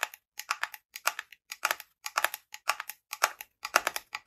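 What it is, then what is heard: Glass jar with wooden lid, tapped with fingernails. Long fingernails tap and scratch the top of a light wooden, likely bamboo, screw lid on a small frosted glass jar with contents not visible, held in both hands. Quick bursts of dry, clicky taps repeat in an uneven rhythm, each dying away almost instantly with a bright, thin tone.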